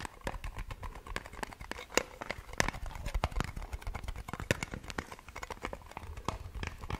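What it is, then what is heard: Small metal tin tapped with nails. A small round blue metal Nivea cream tin with a colorful lid, held in both hands, is tapped and scratched with long nails. A rapid, irregular stream of short, dry clicks and taps mixes with scratchy friction over a low rumble. Each tap dies away almost instantly.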